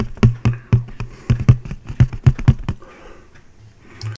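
A single round, thin, empty white disposable paper plate is held in the air and tapped with the fingertips. A quick series of dull, low, short taps with almost no ring runs for about 2.8 seconds, followed by quiet rustling and one last soft tap near the end.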